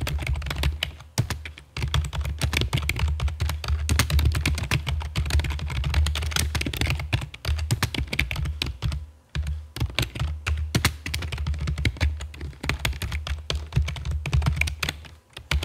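Long fake nails and fingertips type on a full-size black plastic computer keyboard with a hollow body and keycaps, resting on a stone table. Rapid, dense clicking and tapping keystrokes carry a deep, hollow low thump beneath them, with brief pauses between bursts of typing.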